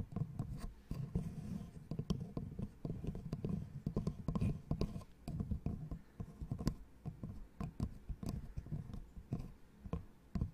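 A small, light, solid wooden L-shaped angle piece, held in front of the microphone, is tapped and scratched with long nails. Soft, dull, low taps come in quick, irregular runs, each dying away at once with no ring, mixed with light scratching.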